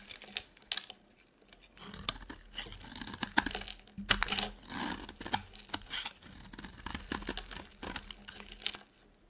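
A small metal blade carves a solid rectangular bar of dry white soap held in one hand, scraping and shaving off brittle flakes. Irregular bursts of dry, bright scraping and crisp crackling follow one another with brief quiet gaps, each stroke short and without ring.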